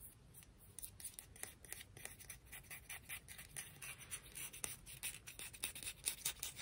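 A conch shell is tapped and scratched, giving a quiet, steady run of crisp, bright clicks and scraping strokes. The sound sits mostly in the high range with little low end, and each tap dies away almost at once.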